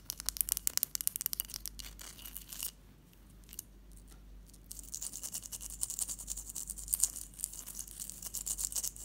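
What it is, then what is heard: Ice block. A large solid block of clear ice resting on a teal cloth is scratched and tapped with long patterned acrylic nails. Bursts of bright, crisp clicks and scratches give way to a quieter stretch of soft scraping. Then dense, bright tapping and scratching return.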